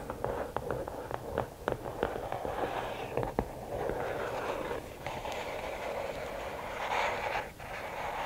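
Long nails tap a quick series of sharp clicks on the lid of a closed, hollow, red and black rigid cardboard gift box. They then move to the sides, giving a steady, hissing scratch with a few more taps mixed in.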